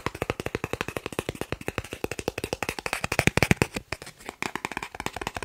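A thin, solid, credit-card-sized green plastic gift card is held in one hand and tapped and scratched rapidly with the fingertips and nails of the other. About 48 quick, dry plastic taps follow one another with almost no ring, mixing a low thump and a bright, clicky edge. There is a brief, quieter scratchy stretch near the four-second mark.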